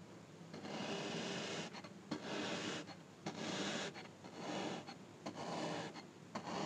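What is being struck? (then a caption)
Packed kinetic sand cube. A thin, dark pointed tool repeatedly pokes the top of a small, palm-sized cube of packed orange kinetic sand resting on a grey surface, leaving small holes. The sound is a soft, grainy hiss and scrape in repeated bursts, broken by brief quiet gaps and a few sharp little clicks.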